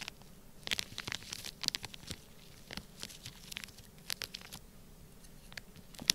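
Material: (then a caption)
Plastic, sand. A black plastic stylus scratches and presses lines into a flat, sealed, clear plastic bag filled full with orange kinetic sand. Bright, crinkly scratches and short crackling bursts come in irregular clusters over a quiet background, ending with a sharper, louder crackle.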